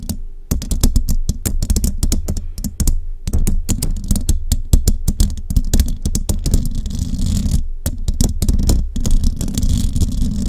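Long rhinestone-covered nails on both hands tap rapidly on the hollow metal mesh grille of a large studio microphone. The result is a dense, steady stream of sharp, bright clicks over a heavy, boomy low thump, with a couple of brief pauses.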